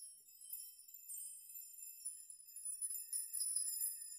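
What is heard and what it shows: Fingers brush through a chime of hanging metal nails, making the nails clink together. The result is a quiet, very high, bright tinkling with overlapping sustained rings and no low end, growing a little denser and louder toward the end.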